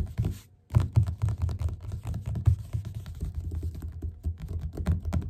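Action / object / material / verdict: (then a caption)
tap / paperback book cover / card / none. Fingertips and nails tap quickly on the cover of a yellow paperback book lying flat and solid. The result is a rapid, dense run of soft, low, dull thuds with short clicky edges, briefly pausing near the start before continuing steadily.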